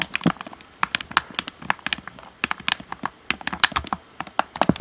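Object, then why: Plastic game controller. Fingertips tap the shell and buttons of a hollow black plastic Xbox One controller in quick, irregular bursts. Each tap is a short, dry, bright click with almost no ring, separated by brief quiet gaps.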